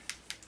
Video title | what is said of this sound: Boxycharm April review May Unboxing 2017 | you do have to shake it up to get it all mixed and you can hear it